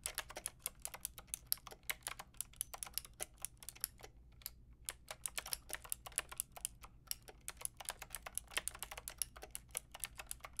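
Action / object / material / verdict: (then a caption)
tap / mechanical keyboard with round plastic keycaps / plastic / none. Fingertips and long nails type on a full-size pink, grey and white mechanical keyboard with round plastic keycaps. It makes a rapid, steady stream of sharp, bright clacks with very short decay. There is a brief pause around the middle, over a faint low hum.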